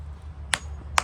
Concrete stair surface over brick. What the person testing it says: This is solid. You hear that noise? That's solid.